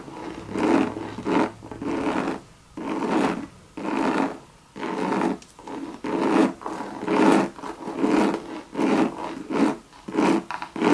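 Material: Coated canvas.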